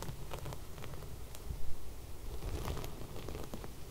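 Long red nails scratch and rub across sequin embroidered fabric laid flat with fairy lights along its edge. The result is a quiet, continuous rustling and patter of small sequin clicks over a low rumble, with one brief louder swell midway.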